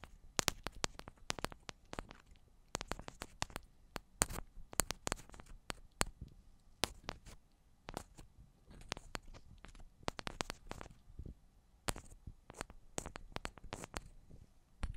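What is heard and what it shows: Long black almond-shaped nails tap the tops and sides of two identical silver metal cylindrical microphones. The result is quiet, dry, sharp clicks that stop instantly, with a bright snap and a low thump. They come in quick, uneven bursts and clusters over a soft background hiss.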